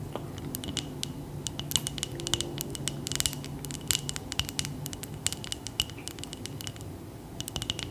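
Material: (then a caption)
Glass. Long acrylic nails tap and scratch the sides of a medium frosted glass jar candle, filled with wax and lit, held in both hands. Rapid, bright, clicking taps with a faint glassy ring near 3 kHz sound over soft scraping and a low background rumble, each tap dying away almost instantly.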